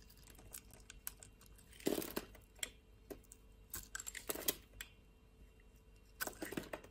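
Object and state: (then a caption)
Soap bar being scraped. A utility blade with a green handle scrapes cubes and flakes off the top of a hand-sized, solid purple soap bar that is scored in a grid and held in the palm. Crisp, dry clicks and crunchy crackles sound in quick succession. Louder, brighter scraping bursts come near 2 seconds, around 4.5 seconds and again near the end.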